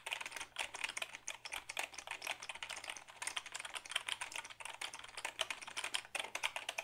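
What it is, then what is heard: Plastic computer keyboard being typed on. Fingertips type rapidly on the keys of a black Dell keyboard made of hollow plastic, held tilted. A steady stream of bright, dry, clacking clicks stops almost instantly after each press, with a faint low hum underneath.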